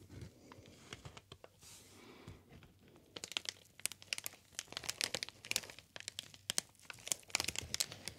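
A green inflated plastic air cushion packaging sheet is squeezed and crinkled with fingers. Soft, quiet rustling for the first few seconds gives way to a dense run of sharp, bright crackles and snaps.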